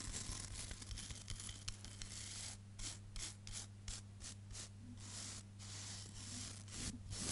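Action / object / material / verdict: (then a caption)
scrape / hairbrush bristles on wooden brush / bristle / none. Long nails and fingertips scratch and flick the dense black bristles of a hand-sized wooden hairbrush. Bright, crackly scratching comes in quick, uneven strokes and bursts. A steady low hum runs underneath throughout.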